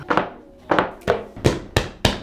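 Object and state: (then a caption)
Thick cushioned desk pad. Six dull, muffled thunks come from tapping and hitting an extra-large, thick, cushioned desk pad with a cork back, which has some bounce when pressed. Each hit is a short, low thud that fades quickly, showing the pad is thick and well cushioned.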